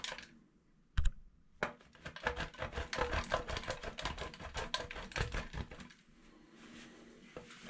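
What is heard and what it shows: A solid light pink-lilac bar of soap is rubbed by hand across a stainless steel box grater. After a single sharp knock, a dense run of rapid, crackly scraping strokes follows for several seconds, with bright gritty edges over a low thump, then fades to near silence.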